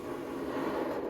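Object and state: Nothing is struck.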